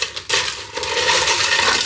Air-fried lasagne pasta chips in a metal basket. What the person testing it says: show you just how crispy they are. Listen to that. That sounds amazing.